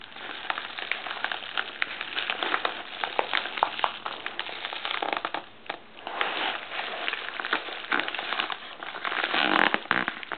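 Fingertips rub, press and scratch across a large, dark navy, glossy plastic poly mailer printed "TOPBOX," which lies on a wooden table with a box inside. The plastic gives a dense, continuous crackling crinkle, bright in the midrange with little low end. It dips briefly just before the 6-second mark, then swells louder toward the end.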